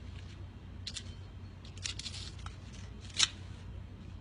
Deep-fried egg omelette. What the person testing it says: ได้ยินเสียงมั้ย กรอบมาก กรอบมากๆเลยจริงๆนะ